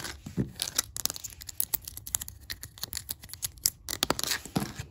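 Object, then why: Wooden floorboards. Long black acrylic nail tips quickly tap and scratch a solid oak-grain wooden floorboard surface. Dry, bright clicks and scrapes come in a fast, uneven stream, each dying away almost instantly.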